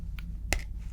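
A card is tapped as one of two sounds to tell apart in a hearing test, giving a faint tap followed by a sharper, brighter click that dies away almost at once. A low, steady hum runs underneath.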